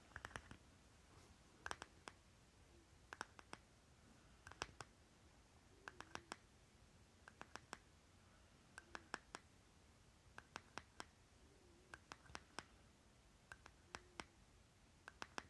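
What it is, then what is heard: Plastic lip balm jar. Fingernails scratch and tap the labeled lid of a small round green plastic lip butter jar held on fabric. Quiet, sharp clicking taps come in quick clusters of two to four, with soft scratching between them over a low, steady background hiss.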